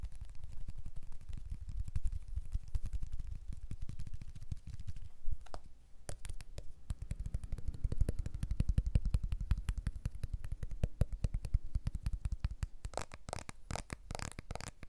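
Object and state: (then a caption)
Smartphone with glass back being tapped. A blue iPhone 12 with a glass back and aluminium frame is held in both hands while fingertips and nails rapidly tap and scratch its glass back and edges, with some grip changes. The result is a dense stream of short, dull, low thumping taps that briefly pauses around the middle, then returns with sharper, brighter clicks near the end.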